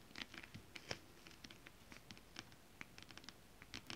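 Long acrylic nails quickly scratch and tap a flat sheet of shiny holographic scale-printed stretch fabric with both hands. The result is a quiet, rapid, irregular run of short, bright, dry scratchy ticks and clicks, each ending almost at once, over a soft low rustle.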